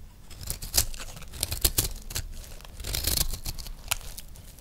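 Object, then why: Recycled soap disc scraped with a knife blade. A metal knife blade scrapes a round, solid, peach-colored dry recycled soap disc held in one hand, peeling off curled shavings. Crisp, dry rasping and crackling come in uneven bursts, with bright, sharp peaks over a low rumble.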